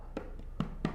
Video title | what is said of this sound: Fender Blu DeTiger x Player Plus Jazz Bass - EMPIRE MUSIC | you can hear where it it get hollowed out and it's really prevalent right there